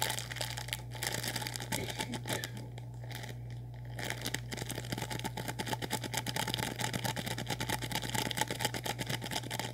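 An orange-and-white, hand-sized plastic snack package filled with snack contents is held in both hands and squeezed and rubbed with the fingertips. It makes dense, irregular crinkling with many quick, sharp crackles, easing briefly in the middle before picking up again. A steady low hum runs underneath the whole time.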